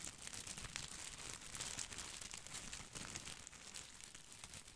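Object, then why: Plastic artificial boxwood ball. A head-sized artificial boxwood ball with plastic leaves is held in both hands against the mic while fingertips rub and scratch its leaves. The result is a steady, bright, crinkly rustle of scratchy plastic leaves with small crackling ticks throughout and little low end.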